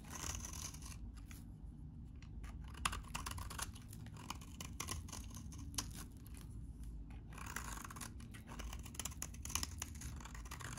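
A utility knife blade scrapes and shaves the surface of a solid, hand-sized, very dry orange bar of vintage soap held in one hand. Dense, crisp scraping and crackling runs throughout, with sharp bright clicks over a steady low rumble and brief quieter pauses between strokes.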